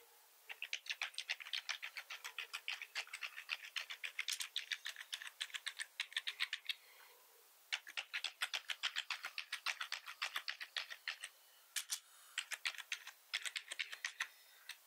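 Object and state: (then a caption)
Plastic computer keyboard. Fingertips of both hands type on a black plastic computer keyboard with red keys and a hollow body. Rapid, uneven bursts of short, bright, clicky keystrokes come with no low thud, each dying away almost instantly. Typing pauses briefly around the 7- and 11-second marks before resuming.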